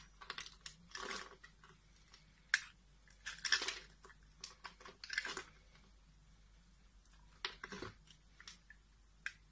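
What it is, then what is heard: Soap bar being carved. A utility knife shaves and cuts flakes off a solid pink soap bar held in the fingers. Crisp, bright scraping strokes and short sharp cuts come in separate bursts with brief quiet gaps, some strokes drawn out into longer rasps, over a faint low hum.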